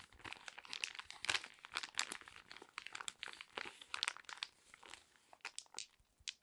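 A small, flat, yellow foil-laminate sheet mask sachet, sealed and full, is crinkled, tapped and scratched with long red nails. Dense, bright crinkling and crackling fills the clip, with quick, sharp ticks and scratchy bursts that die away almost instantly and carry almost no low end.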